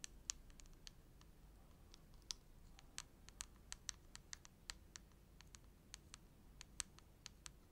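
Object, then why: Soft plastic cosmetic tube. Long acrylic nails tap and click on a filled, hand-sized red soft-plastic Bioderma cream tube, giving about two dozen short, sharp, bright clicks spread unevenly over the clip. Each click dies away almost instantly over a faint, steady low background rumble.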